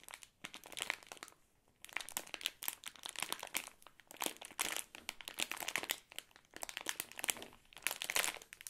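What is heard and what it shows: A full Ahoj-Brause bonbon bag of crinkly plastic film is held in the hands and squeezed with the fingertips. It gives bright, dense crinkling in rapid bursts, with brief pauses between squeezes and almost no low end.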